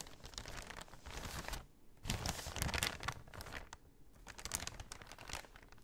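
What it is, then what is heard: Empty paper bag. Long nails tap and scratch the front of a large, empty brown kraft paper shopping bag held upright. Soft, dry crinkling and papery scratching come in bursts, bright and hissy with low thumps, and brief quiet gaps fall between them.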